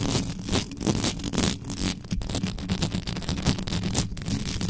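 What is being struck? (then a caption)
Metal microphone mesh grille. Extra-long yellow nails scratch fast and hard across the uncovered mesh grille of a black metal USB microphone, from the top and sides. The result is a dense, continuous scraping and rustling noise with a heavy low-end rumble and bright hiss that pulses with each stroke.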